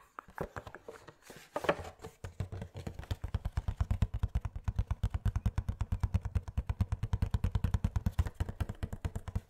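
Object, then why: Small cardboard box with a plastic window. Fingernails tap and scratch the cardboard sides of a small Funko Pop box with a plastic window and a figure inside. A few scattered scratchy taps and a brief rustle lead into a fast, steady run of dull, low thumping taps at about three per second, each one short and dry.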